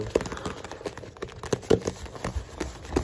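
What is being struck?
Faux leather tablet case over a hard tablet.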